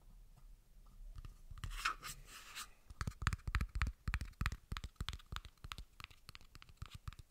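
A large, wide white plastic screw cap with a ridged rim and a hollow body is tapped and scratched with fingertips and nails. A soft, bright scratching hiss comes first, then quick, uneven hollow plastic taps follow in a steady stream, each one short and dry.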